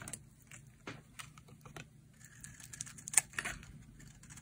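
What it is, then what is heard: Dry bar soap being shaved. A hand-sized, solid oval green-and-white bar of dry soap is shaved with a metal utility blade into thin curls. Short, crisp scraping ticks sound over quiet low rumble, mostly bright and high-pitched, with a sharper, louder cut just after the three-second mark.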